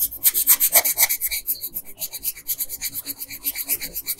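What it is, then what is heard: Colored pencil shading on paper. A red wooden colored pencil held in the hand rubs and scratches across a flat paper coloring page while shading in a dress bow. The strokes come as quick, steady back-and-forth rasps, about four per second, with a bright, papery scratching texture.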